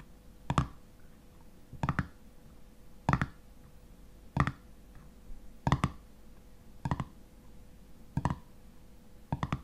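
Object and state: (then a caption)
Metal jar lid. Fingernails tap and scratch on the black metal screw lid of a full glass honey jar, producing eight short bursts of dull clicking about every 1.3 seconds. Each burst is a quick, low-heavy click that dies away almost at once, over a quiet background with a faint steady hum.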